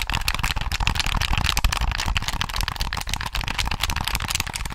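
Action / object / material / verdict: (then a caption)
tap / plastic game controller / plastic / none. A hollow black plastic Sony PS3 controller is held in both hands while fingertips tap and click its buttons and triggers. The result is a dense, continuous run of short, dry plastic clicks and taps with little ring, over a low rumble.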